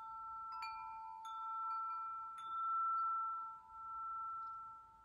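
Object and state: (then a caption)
Metal tube wind chime. Several long, hollow, patterned metal tubes hanging from a wind chime are tapped with fingertips and ring against each other. Clear, bell-like tones sustain around 1.4 kHz and a lower tone near 900 Hz, with bright overtones above. The ringing blends into a continuous shimmering chime that slowly swells and fades.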